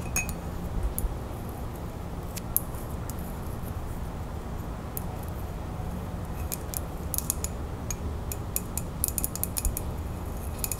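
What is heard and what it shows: Long fingernails tap the body of a ceramic coffee mug with a printed animal picture, held close. Quick, irregular bright clicks with almost no ring sound over a steady low rumble, growing busier toward the end.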